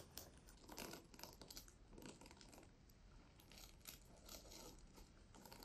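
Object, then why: Plastic sequin pouch. A medium flat pouch covered in pink reversible plastic sequins on fabric is held close to the mic and scratched and brushed with long nails and fingertips, flipping the sequins. The result is a quiet, dense, crisp rustling and clicking, with bright scratchy bursts that swell and fade over a soft low rumble.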